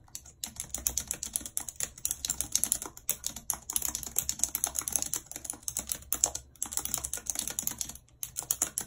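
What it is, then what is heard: Plastic computer keyboard being typed on. Long red acrylic nails type rapidly on a full-size white plastic computer keyboard with a numpad and hollow keys, lying on a world map. Dense, bright, clicky tapping runs in quick bursts with brief pauses between them, and each click is sharp and dies away almost at once.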